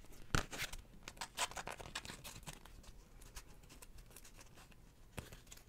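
A floral beeswax wrap, a sheet of wax-coated cotton fabric, is crinkled, flexed and scratched with long nails close to the microphone. Sharp, bright crackles and papery crinkling cluster in the first two seconds, then settle into softer, sparse rustling and scratching, with one more crisp crackle near the end.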